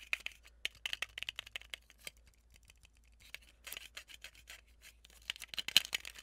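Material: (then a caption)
Plastic. Long nails tap and scratch a small, handheld, transparent plastic tape dispenser holding a white tape roll, striking both the plastic shell and the roll. The result is a quiet run of sharp, dry, bright clicks with almost no low end and no ring, broken by a stretch of softer scratching in the middle.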